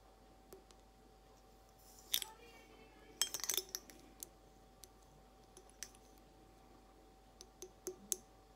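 Long acrylic nails tap the round bulb of a clear, hollow, empty glass carafe vase in slow, scattered, bright clicks and clinks. A brief flurry of taps comes near the middle, and each tap dies almost instantly over a quiet background.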